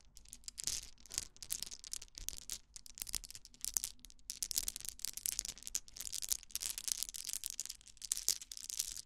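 A pink plastic toy wand, about hand length, with a cluster of small colored plastic balls on one end, held in both hands while fingertips and long nails scratch and rub the balls. The result is a dense, bright, crackly rasp of quick clicking and scraping bursts, with almost no low end and very short decay.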